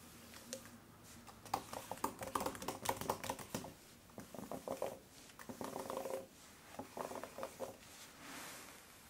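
Gloved fingertips type on a black Apple Magic Keyboard for iPad Pro 11-inch (2020), a tablet-sized folio keyboard with plastic keys and a rubberized polyurethane case resting on a wooden table. Quick bursts of light, clicky plastic key taps come in several clusters with short pauses between them, each tap dry and short with a bright edge. A soft rustle closes the clip.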